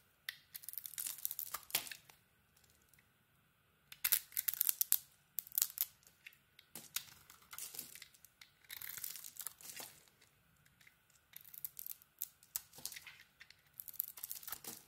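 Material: Soap.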